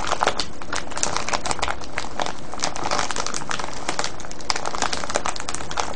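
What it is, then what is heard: Cellophane bag of foil-wrapped candies. Fingers and nails squeeze and scratch a clear cellophane gift bag full of foil-wrapped sweets, tied with a yellow ribbon. A steady, dense crinkling fills the whole clip, with constant sharp, bright crackles over a low rustling rumble and no pauses.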